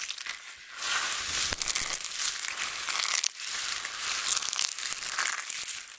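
Both hands, a bracelet on one wrist, grab, crush and rub a large pile of small, thin, solid flakes of dried multicolored soap with fingertips and nails. The result is dense, bright, crackling crunches and crinkles with almost no low end. The sound eases off briefly near the start and again around the middle.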